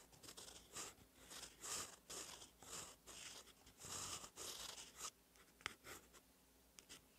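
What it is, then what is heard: Pen nib writing on a paper notebook page. A gold steel fountain pen nib, held in the fingers, scratches across a lined cream paper notebook page lying flat while writing cursive. Soft, bright, airy scratching comes in repeated short bursts of strokes, fading to quieter ticks near the end.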